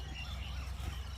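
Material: Nothing is struck.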